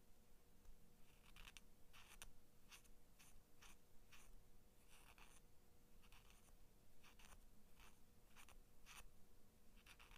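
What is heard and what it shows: Long nails scratch along the flat steel blade of small kids' scissors held by their plastic handles. A series of short, bright, scratchy strokes rises over a steady low hum and faint tonal background.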